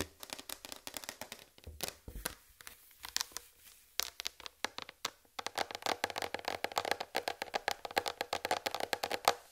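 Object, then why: Plastic tray. A large white plastic tray is handled and then laid down, and long red fingernails tap across it. The result is a fast run of short, dry, bright clicks with a hollow plastic tone and almost no low end. Two brief pauses break the tapping, which grows denser and louder toward the end.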